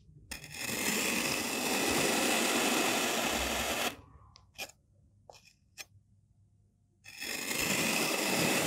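A solid, mauve molded kinetic sand block is sliced into layers with a white-bladed knife. Each cut is a long, bright, grainy scraping hiss, followed by a short pause with a few faint ticks. The blade then scrapes through again.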